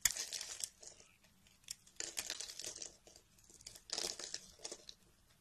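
A metal blade carves chunks and flakes off the edge of a solid, pale peach bar of soap held in fingers with dark nails. Dry, bright, crumbly scraping and crunching comes in short bursts separated by brief quiet pauses, with almost no low end.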